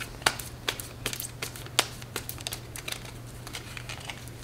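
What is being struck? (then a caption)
Deck of coated-paper playing cards. A deck of thin coated-paper playing cards with blue backs is held in both hands above a glass table and shuffled and squared by fingertips with long nails. Crisp, irregular card snaps and clicks are heard, with soft riffling between them over a steady low hum.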